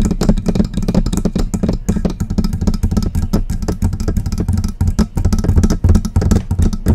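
Long press-on nails tap and scratch rapidly on the hollow body of a silver metal desktop USB microphone. The result is a dense run of close, boomy thumps with a deep low resonance, and a faint scratchy rustle between them.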